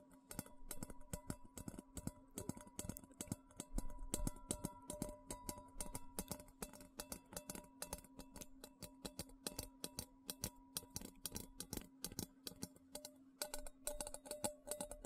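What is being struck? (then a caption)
Stainless steel bowl. Fingertips and nails rapidly tap and scratch the rim and outer surface of a medium, hollow, empty stainless steel bowl close to the mic. The quick, dense run of sharp metallic ticks and scrapes sits over a steady ringing tone that carries through the whole clip.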